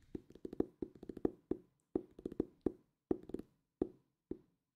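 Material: Cardboard.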